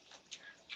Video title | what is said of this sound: Worlds of Flavor 2020: It’s a Veggie World with Chef Ming Tsai | Listen how crispy they are. Right, they hit each other. It's so crispy.